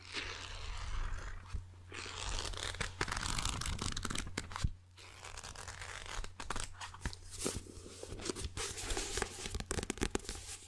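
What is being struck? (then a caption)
Paperback book, paper. Fingertips with short nails scratch, tap and flip the cover and pages of a small, closed yellow paperback book held in both hands close to the mic. The result is dense, crackly papery scratching and rustling broken by sharp taps and flips. A steady low hum runs underneath throughout.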